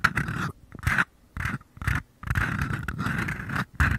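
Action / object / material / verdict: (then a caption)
scrape / small paper cup / paper / none. Fingertips scratch and tap the thin walls of small, empty white mini paper cups, one held in each hand with the open end toward the mic. Short bursts of dry, papery scraping with a hollow midrange resonance and soft low thumps are broken up by brief silences, then run into a longer continuous stretch of scratching.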